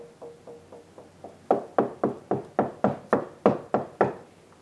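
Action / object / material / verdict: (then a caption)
knock / house wall / unknown / hollow. A house wall is tapped along its length: the first knocks are quiet and dull with a faint ringing tone near 480 Hz, where the wall is solid over the chimney bricks. Then a series of louder, sharper, hollow-sounding knocks with a changed pitch follows. The wall sounds hollow there even though there should be no room behind it.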